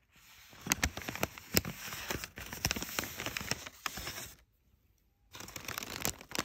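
Fingertips press, rub and scratch the creased surface of crumpled brown kraft packing paper, making dense, bright crinkling with many sharp crackles. The crinkling runs for about four and a half seconds, stops in near silence for nearly a second, then resumes.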